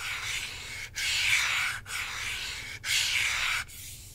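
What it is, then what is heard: Plastic game controller (scratched). Fingertips and nails rub and scratch over the plastic top surface of a hollow plastic Nintendo Switch controller with red and blue Joy-Cons on a black grip, held in one hand. Four continuous, bright, hissy scraping strokes follow one another with brief breaks, centred around 2.3 kHz, then fade to a softer rub at the end.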